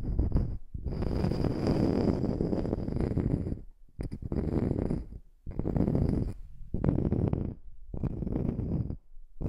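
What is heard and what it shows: Long manicured nails scratch and tap a small, flat, round solid wood slice coaster held above the microphone. Dense, low-heavy rasping scratches come in sustained bursts separated by brief pauses, with a faint steady high tone running beneath them.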